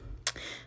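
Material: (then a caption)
Acrylic. A fingertip taps on a dried acrylic nail, making a short, sharp, bright click with almost no ring and faint background hum. The crisp tap shows the acrylic has hardened and is dry and ready for filing.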